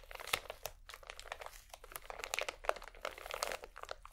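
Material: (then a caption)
Plastic film. A full, small pack of cotton swabs in crinkly plastic wrap is squeezed and scratched with fingertips and painted nails. It gives dense, bright crinkling and crunching made of many short, dry crackles with almost no low end. The crackles come in uneven bursts and stop quickly with no ring.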